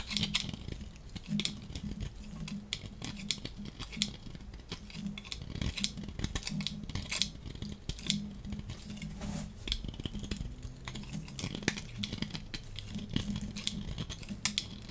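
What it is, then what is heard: Dry soap bar scraped with a blade. A dry blue and white striped soap bar, held in hand, is scraped and shaved with a metal box-cutter blade as flakes peel off. Quick, dry, bright scraping and crackling strokes repeat steadily over a faint low hum.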